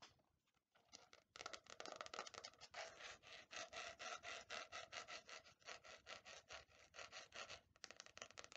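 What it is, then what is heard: Faux leather hardcover notebook. A quiet start gives way to a quick run of rough, bright scratches and light taps, roughly four a second, each dying at once. The hard, slightly grained faux leather cover over board gives a dry rasp with no resonance, in a small quiet room.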